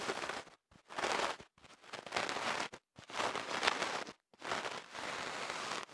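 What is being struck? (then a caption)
Bamboo ear pick on kenaf paper tube. A bamboo ear pick, held in the fingers, is inserted into the opening of a longer white kenaf paper tube wrapped around a microphone and scratched inside it. The result is a series of dry, crackling, papery scrapes in separate bursts with short silent gaps between them. The bursts are bright and hiss-like, with almost no low end.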